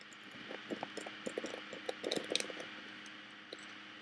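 Fingernails tap and scratch down the woven front and along the lid edge of a hollow woven bamboo-covered box with a metal clasp. Quick, irregular, dry clicks and scratchy rasps come and go over a faint steady low hum, with bright, crisp high tones and almost no ring after each tap.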